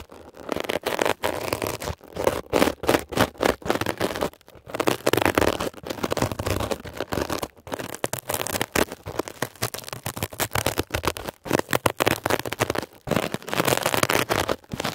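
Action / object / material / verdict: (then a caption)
scrape / mesh-covered foam sponge / foam / none. A metal ear pick scratches and pokes at a blue mesh-covered textured foam scrub sponge. The result is a rapid, dense run of crackly, scraping bursts, centered in the midrange and broken by brief silent gaps.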